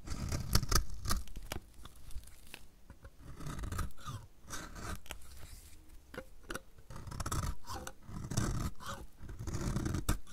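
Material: Soap.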